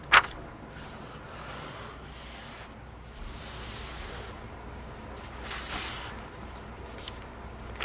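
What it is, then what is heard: Paper pages of a book being rubbed and turned. A large open hardcover *Advanced Dungeons & Dragons Oriental Adventures* rulebook with thin printed paper pages is held by the edges while fingertips rub and slide across the pages as they are turned. A sharp papery snap at the start gives way to a steady, soft, bright rubbing and sliding hiss, swelling a couple of times as pages sweep over, with a few faint ticks near the end.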